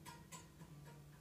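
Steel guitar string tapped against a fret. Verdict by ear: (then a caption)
Correct relief. A guitar string, held down at the 1st and 12th frets, is tapped around the seventh fret on the neck, giving light, short ticking clicks. The small tick shows there is just enough space between the bottom of the string and the top of the fret, meaning the neck has the correct slight bow (relief).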